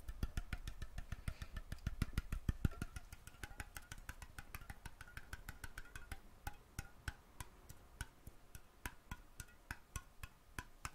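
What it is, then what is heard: Metal jar lid. Fingertips and nails tap a round, thin, hollow metal mason jar lid that has been removed from the jar and is held in hand. About 55 quick, dry, clicky taps come at an irregular pace, louder in the first few seconds and softer afterward, each dying away almost instantly over a low thump.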